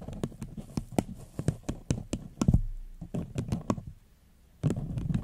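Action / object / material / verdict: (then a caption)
tap / upside-down paper cup / paper / none. Long fingernails tap on a small, hollow, empty floral paper cup turned upside down. A quick series of short, dry, hollow taps sounds with a low, dull body and almost no ring. The taps stop briefly before resuming in a denser cluster at the end.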